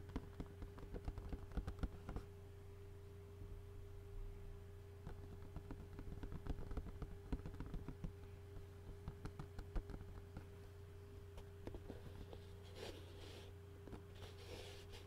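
A large, hollow, clear plastic takeout bowl lid with food residue inside is tapped and scratched with fingertips and short nails. Quiet, irregular, short clicks and taps ring over a steady low hum, with brighter scratchy rustles near the end.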